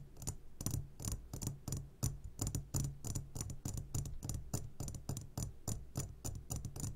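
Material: Glass.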